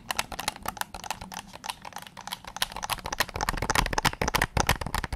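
Fingertips and nails tap the hollow plastic back and triggers of a white PS5 controller, held with its back facing out. A quick, uneven stream of short, dry clicks and taps follows, each with a bright edge and almost no ring. The tapping grows denser and louder toward the end.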